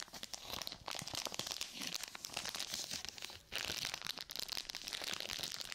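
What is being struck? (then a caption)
Plastic and paper glove pouch. A flat, thin, hand-sized sterile surgical glove pouch with a clear plastic front and paper back, gloves inside, is held in both hands and squeezed and crinkled with long nails and fingertips close to the mic. It gives a dense, bright, continuous crinkling and crackling with sharp little snaps and almost no low end. The sound drops briefly partway through before resuming just as busy.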